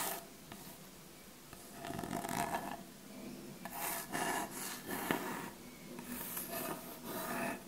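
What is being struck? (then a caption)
Wooden surface. A wooden surface is scratched, producing dry, rasping strokes that rise and fall in several bursts over a soft background hiss. The wood gives a mid-pitched, gritty texture with brief bright scrapes.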